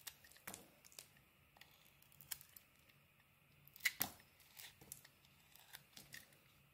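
A metal blade scrapes and cuts slices off a solid, pink, textured, palm-sized bar of soap held in the hand. The quiet, bright, crisp scraping and slicing sounds come in a series of short strokes with little low end, and the loudest cut lands near the middle.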